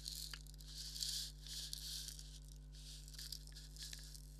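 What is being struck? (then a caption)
Leather maraca. A thumbnail scratches the surface of a hollow black leather maraca, making quiet, bright, dry scratching and rasping in uneven bursts. A steady low hum continues underneath throughout.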